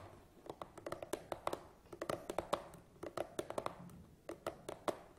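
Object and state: Cardboard box tapped, hollow.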